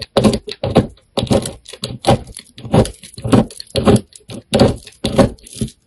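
A utility knife blade scrapes and cuts small cubes off the surface of a solid, hand-sized black soap bar with a purple core, held in one hand. Short crisp scraping and cutting strokes come in irregular bursts, each a dense, waxy crunch with a bright edge. They stop quickly, with brief silences between them.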